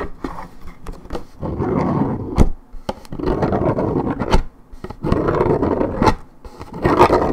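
Long red nails scratch and rasp across the printed surface of a hollow Minute Maid 1.75 L coated paperboard orange juice carton. The result is a series of rough, low-to-mid scraping bursts, separated by sharp taps and clicks.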